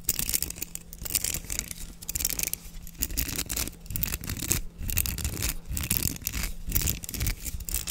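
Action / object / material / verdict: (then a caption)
scrape / plastic bristle hairbrush / plastic / none. Fingers rake and scratch across the bristles of a black plastic hairbrush with a patterned open back, held close to the mic. Dense, bright, crackling bristle scratches come in irregular bursts over a low, steady hum and soft handling thumps.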